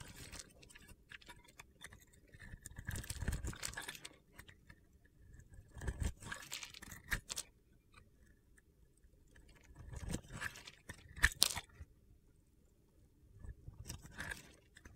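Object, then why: Glitter-coated soap bar. A metal blade scrapes crunchy flakes off the top of a solid purple-glitter soap bar with a teal interior, held in the palm. Bursts of gritty, bright scraping and crackling come in waves around 2–4, 6–7.5, 10–11.5 and 14 seconds, with sharp clicks and quiet pauses between.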